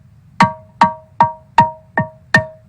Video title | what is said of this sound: Cycle de conférences l Notre-Dame de Paris en chantiers. Archéologie du paysage sonore | en comparaison voici une bonne pierre donc une pierre qui cloche qui sonne